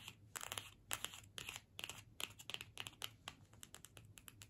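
A small, flat cardstock gift tag printed "Season's Greetings" with holly, hanging on a string, is held in the hands and scratched and tapped with long pointed nails. Quiet, bright, crinkly scratches and sharp dry clicks come in quick irregular bursts, each dying away at once, over a faint low hum.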